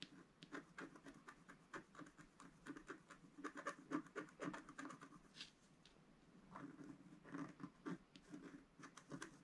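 A wooden stylus stick finely scratches a small detail into a flat black coated scratch art paper sheet. Quick, soft, dry scratching strokes come in uneven bursts, with a quieter lull midway before the scratching picks up again.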